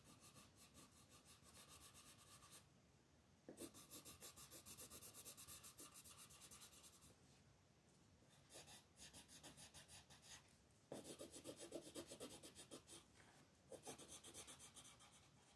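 A green wooden colored pencil tip scratches and rubs across a flat, thin paper coloring page, filling in leaf shapes. Bursts of rapid, bright, scratchy back-and-forth strokes alternate with brief quieter pauses between patches of coloring.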